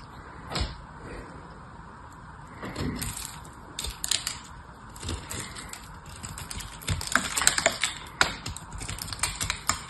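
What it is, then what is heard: Dried soap bar being scraped. A hand-sized, elongated dried soap bar coated in silver paint is held in one hand, gripped by long yellow-painted nails, while its crust is cut and scraped off with a small blade. Dry, crisp scraping and brittle crackling snaps come in clusters, sharper and denser toward the end, each click short and bright with little ring.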